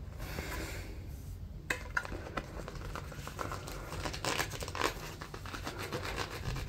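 Fingertips scratch along the ridges of a light, hand-width stack of white accordion-pleated paper and crinkle it. The result is a steady, dry crinkling and scratching, broken by quick, sharp crackles and ticks over a low, constant rumble.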